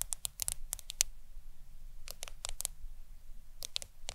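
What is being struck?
Smartphone glass screen.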